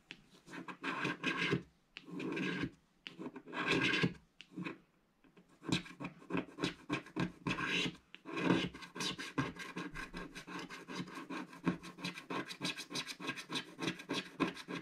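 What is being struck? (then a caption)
Black-coated scratch-art paper scratched with a wooden stick. A thin wooden stick scratches a black-coated scratch-art paper page held flat by one hand, in short repeated strokes. The first half has several longer raspy scraping passes separated by brief pauses. The rest settles into a dense run of quick, bright scratching strokes.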